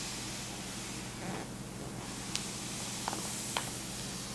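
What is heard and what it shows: Fingertips and a palm rub and smooth the thin printed pages of a large 1960s German paper magazine lying open on a checked tablecloth, with gentle page turning. A quiet, steady, bright papery rustle and hiss runs throughout, broken by a few brief, crisp crinkles in the second half.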